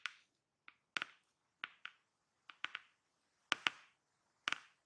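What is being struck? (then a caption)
Cardboard box. Long painted fingernails and fingertips tap and scratch the top of a closed, hollow, flat black glossy-printed cardboard product box with a blue network pattern, lying inside a shipping box. Sharp, bright clicks sound in single hits and quick pairs, each decaying almost at once, with little low end.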